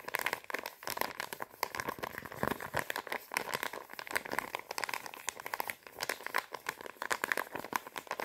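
A flat, round, pink Sephora face mask sachet of thin, sealed foil/plastic laminate is held in both hands while long painted nails tap and scratch across it. The result is a dense, fast, continuous run of bright, crinkly crackling and sharp ticks with almost no low end, dipping briefly near the middle before resuming.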